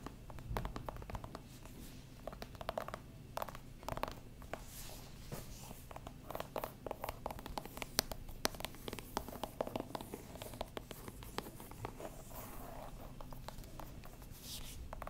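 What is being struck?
Whole pumpkin, ribbed rind.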